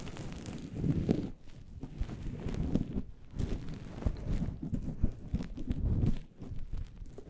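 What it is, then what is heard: Furry synthetic microphone windscreen being scratched. Fingernails scratch and fingertips rub a fluffy synthetic faux-fur windscreen on a microphone with both hands, producing close, muffled, bass-heavy rustling. The scratchy friction comes in dense swells and bursts, with sharp scrapes popping out over a steady low rumble.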